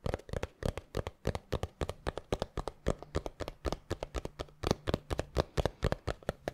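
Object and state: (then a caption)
Small cardboard box, hollow. A small, hollow, palm-sized black textured cardboard gift box is tapped and scratched with fingertips and nails. About three dozen quick, dry, irregular taps land with a hollow knock around 600 Hz and bright scratchy edges. Each tap dies almost instantly over a faint low steady hum.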